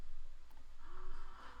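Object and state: Nothing is struck.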